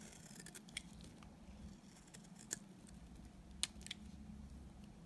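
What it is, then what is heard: Dry soap bar cut with a blade. A small, dry, solid white bar of soap is held between the fingers and shaved into crumbly flakes with a utility knife blade. Soft, bright scraping and cutting sounds are broken by a few sharp, crisp snaps as the blade bites in, all over a low, steady hum. The level stays quiet throughout.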